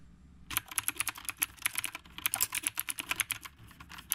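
Both hands type with the fingertips on a retro typewriter-style mechanical keyboard with a dark body and round plastic keycaps. After a brief quiet start, a steady run of about two dozen crisp, bright clicks follows, each sharp and short with almost no ring and little low end.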